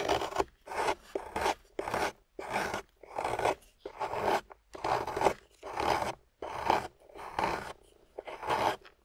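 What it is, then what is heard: Wet clay block being carved. A metal loop tool on a wooden handle carves a solid, water-soaked grey clay block resting on a table. It makes a series of short, separate wet scraping strokes with brief silences between them. Each stroke is a rough, rasping scrape centered in the mids, with a faint bright hiss on top.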